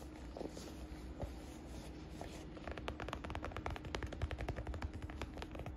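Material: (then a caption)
Leather. Long nails and fingertips scratch and tap the flap and stitched edges of a hollow, medium brown smooth leather (or faux leather) shoulder bag held in the hands. Soft, hissy scratching fills the first half, then gives way to a fast run of sharp, dry, bright tapping clicks over a low, steady background hum.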